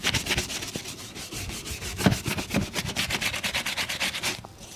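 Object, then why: Leather boot and bristle brush. A brown leather boot, worn on a foot and steadied by one hand, is brushed vigorously with a bristle shoe brush. Rapid back-and-forth strokes make a bright, scratchy swishing rhythm with a few soft low thumps, and the brushing stops just before the end.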